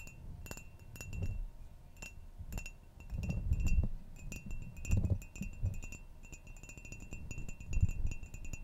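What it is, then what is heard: Ceramic mug. Long nails tap the side of a hollow ceramic coffee mug with a flower pattern, held close. Quick, light clicks come in uneven bursts, each with a faint, bright chime-like ring over a low, muffled rumble.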